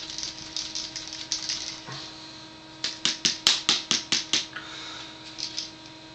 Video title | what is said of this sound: Day 22 - HOT to beat the COLD! | Shake It Up really good you can hear it